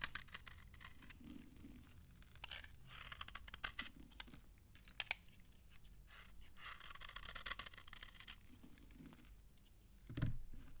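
A utility knife scrapes crunchy shavings off an old, dry, narrowed solid beige soap bar held in the hand. Bursts of dry, bright scraping and crackling recur in uneven strokes over a low background rumble. A louder crunch comes near the end.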